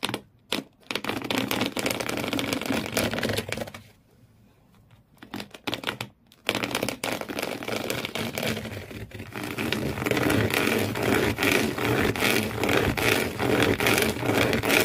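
Fingernails scratch fast and hard across the corrugated cardboard floor inside an empty shoe box. The result is dense, raspy, bright scratching that stops briefly around four and six seconds, then resumes as a steady, rapid, rhythmic scraping through to the end.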